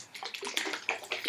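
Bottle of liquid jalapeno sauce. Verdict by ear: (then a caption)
Thin. A bottle of runny, thin Panola Cajun jalapeno sauce, made of vinegar, salt, jalapenos and xanthan gum with virtually no body, is shaken by hand, as its label advises. The liquid sloshes inside in a quick series of bright, splashy bursts that sit mostly in the high range, with short watery gurgles and little low end.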